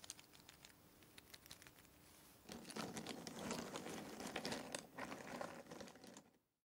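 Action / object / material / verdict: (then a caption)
drop / cardboard jigsaw puzzle pieces in a box / cardboard / none. A hand scoops a handful of cardboard jigsaw puzzle pieces from a box, drops them back onto the pile, and stirs them. Sparse, bright clicks and light ticks open the clip over a faint steady hum. At about 2.5 seconds they give way to a louder, dense clattering rustle that continues until it stops abruptly near the end.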